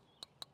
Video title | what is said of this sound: Best Casting Rods of 2025 | Almost sounds like metal or glass, but it's this material that's very different.